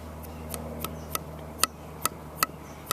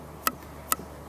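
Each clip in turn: First: unfired air-dried clay pot, dull sound. Second: unfired air-dried clay pot, dull sound.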